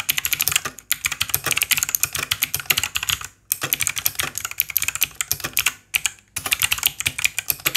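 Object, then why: Mechanical keyboard with plastic keycaps. Both hands type with their fingertips on a white 60% Langtu G1000 RGB mechanical keyboard with plastic keycaps, and at the end one hand presses keys at its right edge. Rapid, bright, sharp plastic clacks run in dense bursts. Brief silent pauses come at about 0.9, 3.4 and 6 seconds.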